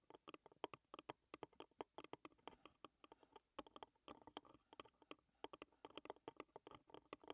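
Curled fingers with long red nails tap and scratch quickly on the white painted lid of a closed, hollow, rectangular wooden tea box. About 45 quiet, crisp, hollow clicks come in rapid, uneven bursts, with a woody midrange tone, very little bass, a faint bright edge and almost no ring after each tap.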